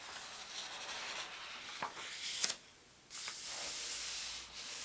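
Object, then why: Thin paper pages of a large atlas. Fingers turn a thin paper index page of a large open atlas, then the palm rubs it flat. Soft, bright papery rubbing is broken by a couple of crisp crinkles as the page flips. After a brief near-silence, a steady high hiss of the palm sweeping across the page follows.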